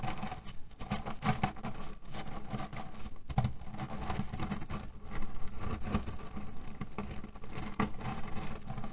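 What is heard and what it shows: Fingertips and nails scratch, knead and press a beige printed cotton fabric pillow filled with cherry stones. A steady, dense patter of small rattling clicks and rustles rises and falls, mostly low and muffled with short, dry taps that fade almost at once.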